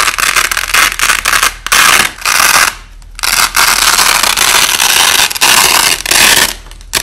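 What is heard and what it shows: Fingers peel apart and press together the halves of a wide white nylon hook-and-loop (Velcro) strip, with the audio slowed down. Long, crackly ripping bursts of bright, hissy noise follow one another, separated by brief quieter pauses, with almost no low end.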